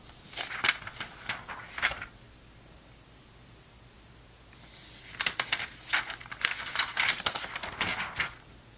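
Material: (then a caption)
Paper. Fingertips turn the pages and brush across an open glossy paper magazine, a vintage November 2002 issue of Sports Illustrated. Bright, crisp crackling rustles come in two bursts, one over the first two seconds and a longer one from about five seconds on, with a near-silent pause between.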